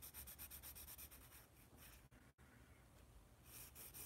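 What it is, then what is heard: Pencil drawing on a paper sketch pad. A yellow wooden graphite pencil is rubbed and scratched across a large white paper sketch pad held upright in one hand while drawing. Quick rhythmic scratchy strokes with a bright, hissy edge give way to a smoother steady rubbing, a brief pause, then faster bright scratching again.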